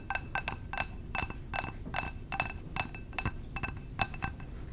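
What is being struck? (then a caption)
Glass candle jar. A glass candle jar is tapped with the fingers, giving a quick, irregular run of light, bright clinks. Each tap sounds a short glassy tone near 2.6 kHz with high overtones and dies away almost at once, over a low, steady background hiss.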